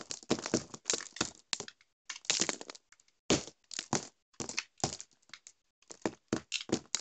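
A metal utility knife blade scrapes and cuts a solid orange bar of soap that is dry and crumbly. It makes a quick series of sharp, bright crackling scrapes and snaps with short pauses between them. The soap crumbles into small chunks and shavings.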